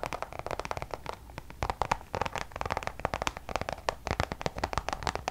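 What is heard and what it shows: Long nails tap quickly on a checkered coated-canvas designer pouch, making a dense run of short, dry clicks and light scratches. Each tap dies away almost instantly, with most of the energy in the midrange.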